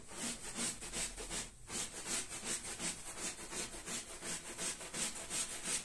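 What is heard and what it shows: A small red patterned wool pile rug, wet and foamy and lying flat on the floor, is scrubbed with a long-handled stiff-bristled push broom. Steady back-and-forth strokes make a bright, hissing scrub with a soft low swish, repeating at a fairly regular pace with a brief pause near the start.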